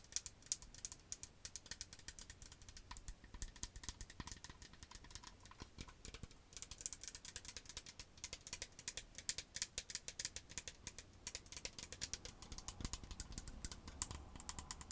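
Long acrylic nails tap and scratch a medium green plastic cosmetic toner bottle with a white cap, partly filled with liquid. The result is a quiet, steady stream of rapid, dry clicks with a bright, crisp edge, each tap dying away almost instantly, over faint scratchy rustling.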